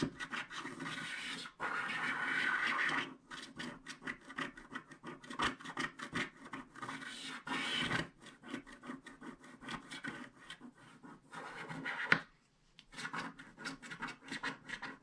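A wooden stylus scratches the coating off a flat black-coated paper scratch card near the unicorn's mane. Dry, bright rasping strokes come in quick, uneven bursts, with a few longer sustained scrapes between short flicks and brief pauses.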